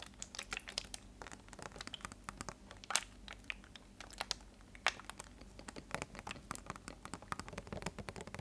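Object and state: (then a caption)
Plastic water bottle being crinkled. A clear plastic water bottle with a green label is held sideways and squeezed and twisted with both hands. It makes a quiet, continuous run of sharp, bright crinkles and crackles, with a few louder pops standing out over a faint low hum.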